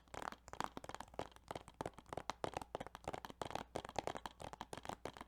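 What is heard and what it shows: Fingertips tap rapidly on a plastic Yu-Gi-Oh! Duelist of the Roses video game case, making a quick, uneven run of light, dry clicks. Each tap has a hollow, mid-pitched knock and dies out almost at once.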